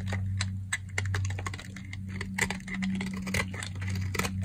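A box-cutter blade shaves crumbly flakes off the edge of a solid, dry, cream-colored soap bar held in the hand. It makes a rapid series of dry, crisp scrapes and crackles with bright, high edges. A steady low hum runs underneath.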